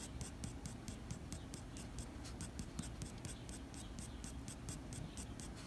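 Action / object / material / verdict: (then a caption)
scrape / drawing paper sheet with graphite pencil / paper / none. The graphite tip of a blue mechanical pencil fine-scratches a flat sheet of white drawing paper bearing a graphite dog drawing, in short hatching strokes. A quick, steady run of bright, dry scratches repeats over a soft low rumble, each stroke ending almost at once.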